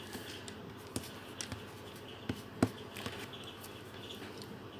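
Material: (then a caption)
Paper. A green felt-tip marker is rubbed over a thin paper colouring sheet resting on a table in continuous colouring strokes. It makes a quiet, steady scratchy rubbing with a soft hiss, broken by a few short, sharper ticks and scrapes as the tip drags across the paper.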